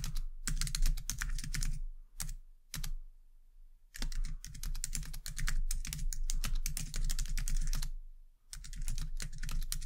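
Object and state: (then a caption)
Plastic computer keyboard being typed on. Long dark-painted nails and fingertips type on a white low-profile plastic computer keyboard resting on a desk, producing rapid, bright clicking keystrokes over a steady low hum. The typing runs in bursts, with a longer pause in the middle where only a few scattered key taps sound, and a brief break near the end before it resumes.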